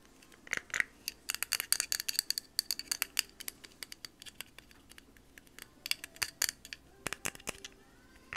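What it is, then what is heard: Plastic stapler with metal parts. Long manicured nails tap and handle a small, hollow yellow plastic stapler with a metal staple mechanism, opening it to expose the metal inside. Dozens of quick, dry, high-pitched clicks and taps come in irregular bursts, with faint scratchy handling between them. Each tap stops dead with no ring, all against a quiet background.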